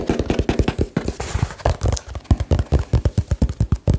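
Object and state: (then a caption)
Cardboard box. Fingertips and nails tap rapidly and hard on a small, hollow, labeled cardboard box. The result is a fast, uneven run of short, dull, bassy knocks with quick decay and only a little bright click on top.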